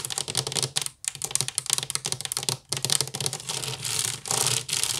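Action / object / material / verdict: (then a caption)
scrape / woven wicker basket / wicker / none. Long nails of both hands rapidly scratch a hollow, empty woven wicker basket, producing dense, dry, bright crackling scratches with short clicky bursts. The scratching runs almost continuously, with brief pauses and smoother sustained rasps toward the end.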